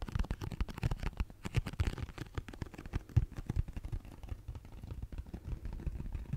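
Fingernails tap and scratch rapidly across the faces of a hollow pink cardboard tissue box held in the hands. The result is a dense, irregular run of short, dry, hollow thumps, concentrated almost entirely in the low range, with faint scratchy texture between them.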